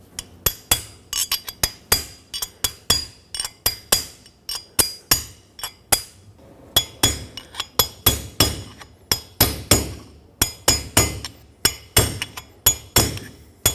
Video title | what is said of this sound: How to Replace Rear Wheel Bearings 2011-2016 Ford F-350 | You can hear a clear difference between when it's still going down and when it is fully seated.